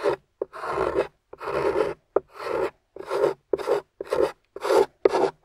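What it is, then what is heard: Clay-coated soap bar scraped. A metal spatula with a wooden handle scrapes and carves the thick, dry beige clay or plaster crust coating a solid, rectangular, translucent yellow glycerin soap bar on a table, throwing up crumbly shavings. A series of short, dry, raspy scraping strokes is separated by brief silences, with a gritty midrange texture centered near 400 Hz and little low end.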